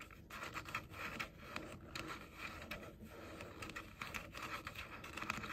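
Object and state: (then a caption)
Plastic headphone ear cups scratched and tapped. Short nails scratch and tap the outer shells of pink plastic over-ear headphones with hollow ear cups. The result is a quiet, continuous, bright scratching, broken by short, dry taps.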